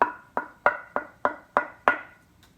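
A walnut blank used for a guitar neck is held up at one corner and tapped seven times. Each tap gives a short, bright, wood-block-like ring centered around 1–1.4 kHz that fades quickly. Held freely like a xylophone bar, the board rings clearly.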